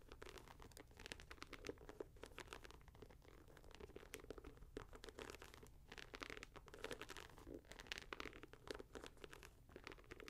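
A leather and mesh Nike Air Max 90 sneaker is held in the hand while fingers scratch across the upper and pull at the laces. The result is a quiet, dense stream of quick, dry scratching strokes with bright, crinkly rasps and soft tugs, with no ring after each stroke.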